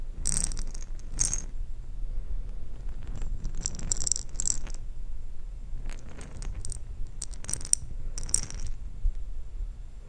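A jar filled with small plastic perler beads is shaken and handled, producing bursts of bright, crisp rattling. The rattles come in short clusters over a steady low rumble throughout.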